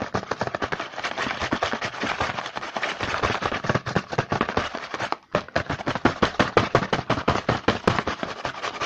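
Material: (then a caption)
Cardboard. Fingertips tap and scratch fast on the front of a small printed cardboard Hanuta snack box held in the hand. The sound is a dense, uneven stream of dry, bright clicks with a brief pause just past the five-second mark before the rapid tapping resumes.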